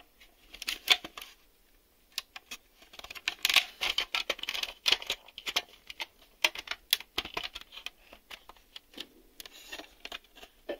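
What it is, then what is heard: Plastic VHS cassette. Fingernails tap and click along the tape-door edge and the underside of a hollow black hard-plastic VHS video cassette. Quick, dry, bright clicks come in uneven bursts with brief pauses, each snapping off almost instantly with no low end.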